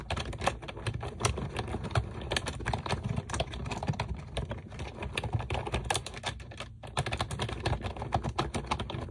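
A pink plastic computer keyboard with round keycaps sits on a desk and is typed on quickly with long nails and fingertips. Dense, rapid clicks and clacks with a low thudding body run steadily for about nine seconds, with a brief gap near 6.7 seconds. Each tap dies away almost instantly.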